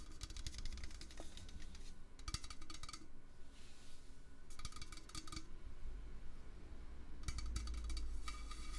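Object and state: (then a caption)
Metal can. A metal can is tapped with fingertips in quick, light flurries, producing bright, crisp clinking taps that come in several bursts separated by short pauses. A low, steady hum runs underneath throughout.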